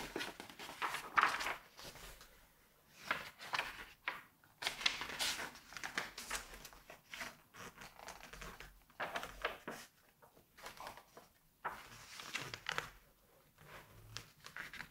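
Fingertips rub and press across the glossy paper page of a large open September 1986 Vogue magazine, then turn it to the next spread, a car ad. Soft, bright crinkling and swishing bursts rise and fade in irregular waves with quiet gaps between, ending in crisp page-turn rustles.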